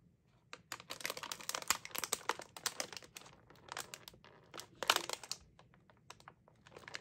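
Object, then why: Metallized plastic film snack bag. A sealed, full bag of Oreo Space Dunk cookies made of glossy metallized plastic film is held in both hands and crinkled and squeezed with fingertips and long nails. It gives off dense, bright crinkling and crackling in irregular bursts, with quiet pauses between them.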